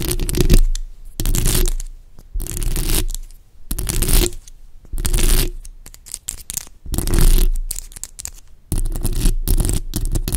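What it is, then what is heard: Metal microphone grille. Long acrylic nails scratch and tap the bare, hollow metal mesh grille of a black USB microphone. The sound comes in repeated bursts of close, rough scratching, separated by short quiet gaps. Each burst carries a heavy low-end rumble under the brighter scraping hiss.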